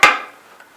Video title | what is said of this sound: การตรวจ ค้นหา ปลวก | the wood would look solid but when you turn it around if you tap on it they would have discovered that it was Hollow full of dirt